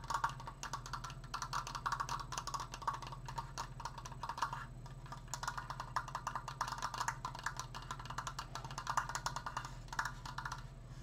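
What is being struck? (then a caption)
Wooden triangular decoration. Fingertips tap rapidly on a wooden Triforce decoration. Dense bursts of short, dry, woody knocks center around 1.2 kHz with brief bright clicks and almost no ring, over a steady low hum throughout.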